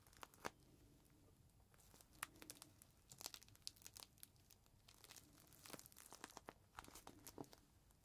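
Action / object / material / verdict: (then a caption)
scrape / plastic zip bag with microfiber cloth inside / plastic / none. A clear plastic zip bag with a folded green microfiber cloth inside is held flat and lifted in the hands while fingers squeeze and handle the plastic. Quiet, sharp crinkles and crackles come in uneven bursts with bright, dry snaps and soft rustling between them over about eight seconds.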